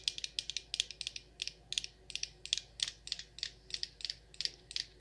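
Long nails tap the glass sides of a Rose Water & Ivy glass jar candle with a black lid, full of wax. About 24 quick, bright, high-pitched clicks come in loose, uneven clusters, each dying away almost instantly with no low-end body.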